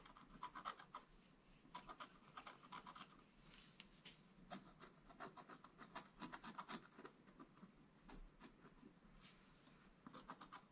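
A wooden stylus scratches strokes into a flat black-coated scratch-art page. Quick, dry rasping scrapes come in irregular bursts of short strokes, with a bright hiss and brief quieter pauses between.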